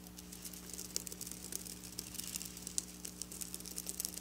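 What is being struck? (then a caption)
Sequin fabric scratched with fingernails. Long black nails scratch and brush across the rows of a flat silver sequin fabric. The result is a quiet, irregular patter of bright, crisp clicks and crinkly scrapes over a faint, steady low hum.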